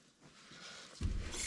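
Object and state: Nothing is struck.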